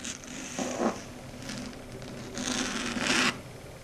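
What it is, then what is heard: Chalkboard scratched with nails. Long red stiletto nails scratch and tap across a flat, matte, dark grey chalkboard. The result is a series of dry, bright scraping bursts with a faint tonal hum beneath, loudest near the middle and end of the clip.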